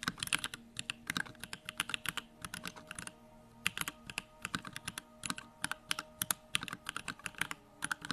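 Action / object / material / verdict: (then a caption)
tap / mechanical keyboard with aluminum case and plastic keycaps / aluminum, plastic / none. A compact 65% Bakeneko65 mechanical keyboard with a pink aluminum case, Durock lavender switches and pink plastic keycaps, resting on a wooden desk, is typed on quickly with the fingertips of both hands. The fast, uneven run of short, bright, clacky key presses has no ring and only a brief pause near the middle.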